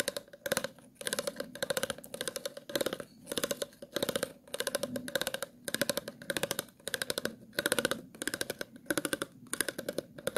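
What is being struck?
Plastic water bottle.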